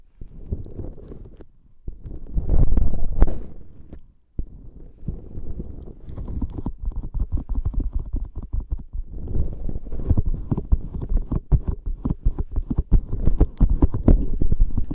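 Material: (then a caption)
Rubber. A blue squishy rubber dolphin toy filled with gel beads is held close to the mic and squeezed and scratched with fingertips. The result is a low, muffled, rumbling squish of dense, crackly scratches and brief swells, with a short pause near four seconds before the rapid scratching resumes.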